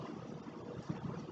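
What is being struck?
Nothing is struck.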